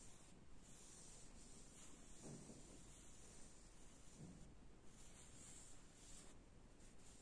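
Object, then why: Woven fabric sofa upholstery. Fingertips and nails scratch and rub the beige woven upholstery, with a black square pattern, on a padded, soft sofa seat. The result is a quiet, steady, low-pitched scratching and rubbing texture with a faint airy hiss and no distinct separate hits.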